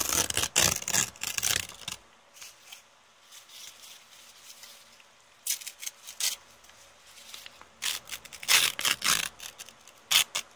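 A crumpled brown kraft paper bag with teal print is held in both hands while fingers with long painted nails crumple, tear and rip it. Bursts of bright, crackling paper rustle and sharp tearing come in clusters at the start, middle and end, with quieter soft rubbing between them.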